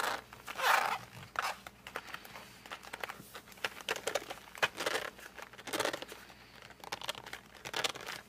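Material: Cardboard.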